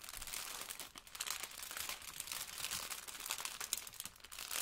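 Yellow rubber-gloved hands hold a blue sponge in a clear plastic wrapper, crinkling and rubbing it, with a plastic apron nearby. A steady, bright, crackly rustle of plastic runs throughout with almost no low end, easing briefly around the one-second mark and again near the end before picking back up.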